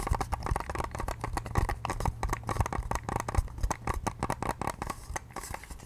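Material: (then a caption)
Plastic. A small, hollow, white-pink hard plastic case or device is held in both hands and tapped and scratched with long painted nails. The result is a rapid, continuous patter of short, dry clicks and scratches over a low, hollow thump, each tap dying away almost at once.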